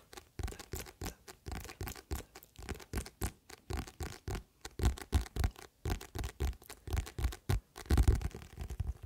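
A paperback book with a glossy paper cover, held in both hands just behind the microphone, is tapped and scratched on the cover with the fingertips. A rapid, steady run of short, dull, low-heavy taps mixes with soft scratchy rustles, each dying away almost at once.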